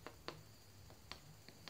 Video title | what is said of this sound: กับข้าวเต่าถ่านผัดมาม่าใส่ทุกอย่าง#เผามัน#กินมันเผาหวานหอมอร่อยมากๆจ้า | ถ้าเสียงแน่นแบบนี้ยังไม่สุก